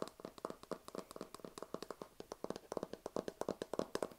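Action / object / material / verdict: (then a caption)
tap / hard plastic lamp shell / plastic / none. A white, cloud-shaped lamp, likely hard plastic, about hand-sized and probably hollow, is held in both hands close to the mic and tapped with fingertips. About 27 quick, dry, hollow taps with a mid-pitched knock and a faint bright click on top, each dying away almost instantly. The taps come in an uneven, fast rhythm throughout.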